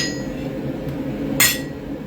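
A hammer strikes a steel anvil once, giving a sharp metallic clink that rings briefly and decays against a low background hum. The ringing tone means the steel is too cold to work, unlike the dull thud of hot steel.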